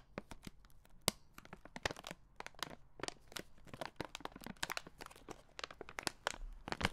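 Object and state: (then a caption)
Plastic candy bag being crinkled. A red plastic-film Skittles bag, apparently full of candy, is held in the hand and crinkled and squeezed with the fingers. Dense, dry crinkling and sharp crackles come in quick, irregular bursts with bright high-end snaps. Each crackle cuts off almost instantly, and the sound stays fairly quiet throughout.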